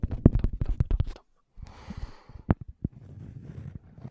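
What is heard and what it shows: Fingertips and nails scratch and tap the surface of a round, flat cork coaster with a scalloped edge, thin and solid, held close to the microphone. A rapid run of dull, low, muffled taps gives way after a brief silence to a soft, rustling scratch with a few sharper taps on top. The sound stays deep and close, with almost no ring after each tap.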